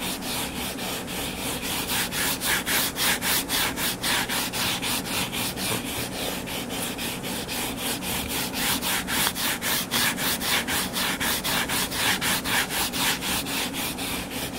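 Fingertips and nails scratch the cover of a closed, solid hardcover book lying flat on a table. The result is a steady, rhythmic, bright scratching, about two strokes per second, that continues evenly throughout.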